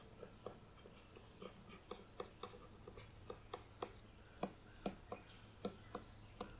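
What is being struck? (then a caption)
Cardboard hardcover book. A closed, solid, thick Narnia hardcover book with a dark printed cardboard cover is scratched and tapped across the front with long painted nails, and then it is turned to show the spine. Soft, short, dull taps recur irregularly over a quiet, low hum, with faint brushing scratches between them and a few brief bright scrapes near the end.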